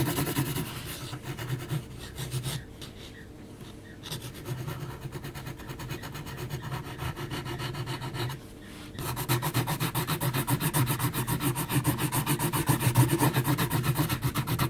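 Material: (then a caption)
Paper. An HB graphite pencil is scratched across a large, flat sheet of heavy, textured mixed-media paper in rapid hatching strokes. The result is a steady, dry, raspy scratching with a quick back-and-forth rhythm. It eases to quieter, sparser strokes around 3 and 8.5 seconds, then grows louder and denser toward the end.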